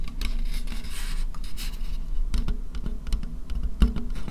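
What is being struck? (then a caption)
Thin disposable plastic bowl. An empty, thin white disposable plastic bowl close to the microphone is tapped and scratched with fingernails. Sharp, dry clicks fall in quick irregular succession over a rasping scratch and a steady low rumble, with each tap dying away almost at once.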